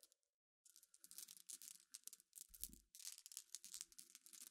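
Long nails scratch and stir a pile of small, clear, solid glass pebbles resting on black cloth. After a short silent start, a dense run of bright, crisp clicks and gritty rustles follows, with brief low thumps as the pebbles shift.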